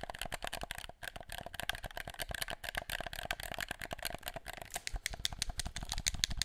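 Fingertips click and rattle the buttons and triggers of a black plastic gamepad held behind the mic. A rapid, dense stream of sharp, bright plastic clicks and rattles continues throughout, with very short decay and some low thumps underneath.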